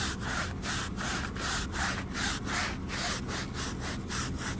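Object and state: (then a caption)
Woven fabric area rug being scrubbed. A small, wet, flat-woven fringed rug with a patterned pile, lying muddy on a plastic sheet outdoors, is scrubbed back and forth with a long-handled push broom that has a wooden head and stiff bristles. The result is a steady, rhythmic, gritty swishing and scraping of bristles over wet fabric, with strokes running close together in a continuous broadband rasp that has a brighter, hissy edge.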